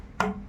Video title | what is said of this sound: เก้าอี้ซ่อมได้สดใสกว่าเดิม👍👍28 เมษายน ค.ศ. 2024 | เป็นไม้ค่ะค่ะ